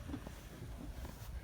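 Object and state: Nothing is struck.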